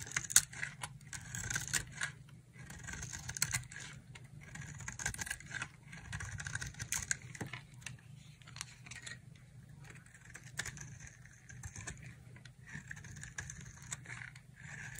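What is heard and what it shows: A solid, dry green soap bar held in the hand is carved with a utility knife blade, scraping shavings off its surface. Quick, crisp scrapes and flaking crackles repeat throughout, bright and dry with short sharp peaks. A steady low hum sits underneath.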